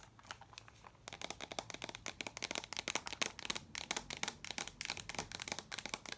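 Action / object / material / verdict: tap / small metal tin canister / tin / none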